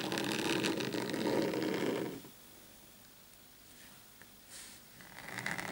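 Short painted fingernails on both hands scratch the surface of a large, flat black desk mat lying on a table. A dense, rapid rasping scrape fills the first two seconds, then drops to near silence with only faint light touches. A brighter scratching returns toward the end.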